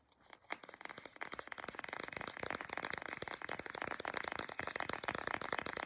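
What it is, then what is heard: Plastic lotion tube. Long acrylic nails scratch and tap the front and back of a small CeraVe moisturizing cream tube made of soft plastic. The result is a dense run of quick, dry crinkling clicks and scrapes with a bright, thin tone and almost no low end. It starts sparse and quiet, then thickens into steady rapid tapping.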